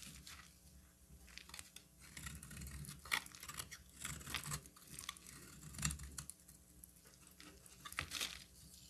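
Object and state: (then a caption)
Bar of soap being cut. A metal utility knife blade cuts and shaves a solid, hand-sized orange bar of soap, letting thin flakes fall away. Quiet, dry scraping and crisp, tearing crackles repeat in short bursts, with bright, sharp peaks. A faint low hum sits steadily underneath.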